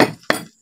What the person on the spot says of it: At saka po hindi siya basta tumataginting. Pagka tinuktok nyo yan, halos hindi po yan tumataginting.